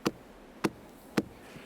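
Three knocks on the trunk of a century-old drowned spruce at Lake Kaindy give short, dry hollow thuds centred around 300 Hz that die away almost at once. The trunk sounds hollow because the tree has been dead and withered for a long time.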